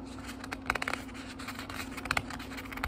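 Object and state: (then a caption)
Paper book pages being turned. Fingertips turn the thin paper pages of a small, thick book, making soft, crisp rustles and papery flicks with bright, high crackle. A faint steady low hum runs underneath throughout.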